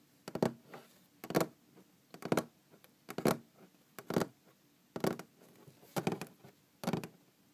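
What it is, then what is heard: Wooden tabletop tapped with fingernails. Long green-painted fingernails tap on a large solid wooden tabletop, heard up close. Quick bursts of dry, woody clicks and light scratches come about once a second, about eight of them, each dying away almost at once with soft quiet gaps between.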